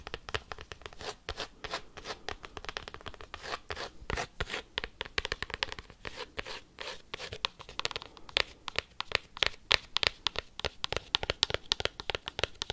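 A cork coaster is tapped and scratched quickly with paperclips. The result is a dense, fast run of dry, bright clicks and scratchy scrapes with almost no ring and little low end, getting sharper and louder toward the end.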